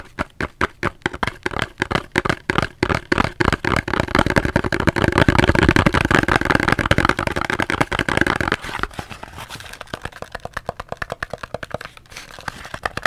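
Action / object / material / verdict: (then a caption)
tap / cardboard soap box / cardboard / none. Fingers tap on a cardboard soap box in quick, irregular taps, around fifty short, dry knocks with a low, hollow body and almost no ring. The tapping grows denser and louder toward the middle into a busy rustling patter, then thins back out into softer, separate taps.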